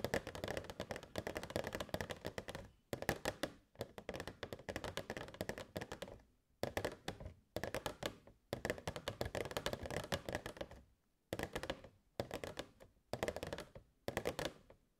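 Long nails tap rapidly on the sides of a hollow, transparent plastic box with fairy lights inside. The dry, clicky taps come in fast bursts separated by short pauses, each tap dying away almost at once with a faint hollow body.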